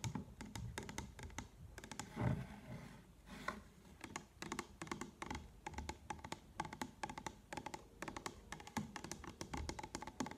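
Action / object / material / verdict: tap / plastic solution bottle / plastic / none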